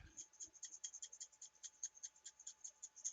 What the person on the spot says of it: that does make a great sound